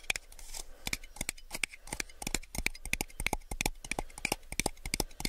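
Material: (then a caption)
Plastic. A small, hollow, empty clear plastic drinking cup is held in the hands, tapped with fingertips and nails, and turned while tapping. It gives a rapid, uneven run of short, bright clicking taps with a light tonal ping around 2.4 kHz. Each tap dies away almost instantly, over a faint low hum.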